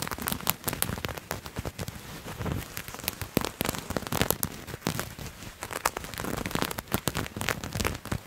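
A purple patterned fabric garment is bunched in both hands close to the mic and scratched with fingernails. The result is a dense run of quick, dry, crackling scratches with bright, sharp edges, rising and falling in bursts over a soft rustle.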